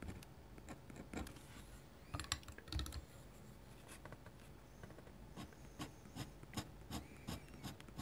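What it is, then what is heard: Pen nib scratching on paper. A metal dip-pen nib scratches dense hatching lines across a large flat white paper drawing sheet, making quiet, dry rasping strokes. The short scratches come in quick irregular bursts with brief pauses between them, and a few louder strokes stand out near the two-to-three-second mark.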